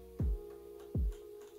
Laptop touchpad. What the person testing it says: it has a touchpad that rattles